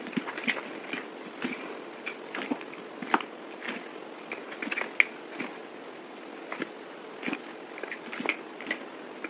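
A solid oval white bar soap held in the palm is scraped and shaved with a yellow box cutter blade. A quick series of short, crisp, bright scraping and crackling strokes sounds over a soft, steady hiss.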